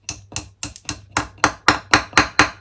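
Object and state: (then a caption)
Fully seated engine timing-chain part. A hammer gently taps a metal timing chain retaining part into a blown-up Raptor engine during head removal, so the part won't fall into the engine. Eleven short, bright metallic taps grow louder toward the end, each with a brief ring. The part ends up fully seated.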